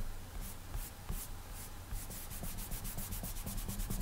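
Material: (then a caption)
Glass. Fingertips rub back and forth across the flat glass touchscreen of an iPad tablet, drawing with a finger in repeated strokes. Each stroke makes a soft, bright swishing hiss over a quiet, steady low hum. The strokes come faster and closer together in the second half.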